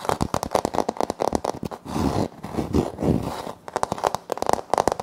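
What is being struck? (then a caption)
Wood-look laminate floor panel. Fingertips and short nails tap and scratch a flat, solid wood-look laminate floor panel with a light wood-grain print. Quick, dry, crisp taps open the clip, give way to a stretch of steady scraping scratches in the middle, then return as a fast run of taps. The sound is mostly midrange with no ring after each hit.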